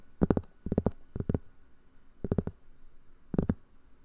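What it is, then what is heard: Cork board, tapped. Fingers tap on a cork board for ASMR, making quick, soft, dull taps in five short clusters separated by brief pauses. Each tap is muffled and low, with almost no ring.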